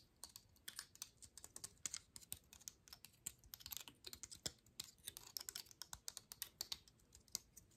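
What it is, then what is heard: Dry pine cone. Long manicured nails tap and scratch along the woody scales of a medium-sized, open, dry brown pine cone held in one hand. A quick, irregular string of crisp, dry clicks and scratchy rasps is heard. The sound is bright and high-pitched, each tap dying away almost instantly at a quiet, close level.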